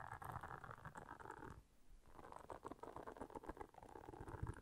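Long nails quickly scratch and tap the bristles of a round blue silicone bristle scrubber pad lying flat. The result is a dense, rapid patter of soft, dry crackles with a low rumbling undertone and a brief quieter pause near the middle.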